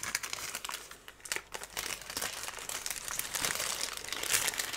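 A long, thin strip of brown kraft paper, twisted into a loose roll, is held in the hands close to the microphone and crumpled, twisted and rubbed between the fingertips. The result is dense, steady crinkling and crackling, almost all bright and high with very little low end, swelling louder toward the end.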